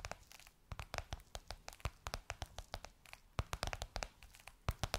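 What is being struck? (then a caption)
Faux leather cushion cover. Long nails tap and scratch across a gold crocodile-embossed faux leather pillowcase covering a soft cushion. A rapid, irregular stream of sharp, dry clicks mixes with bright, crinkly scratching. Each tap dies away almost at once with no ring.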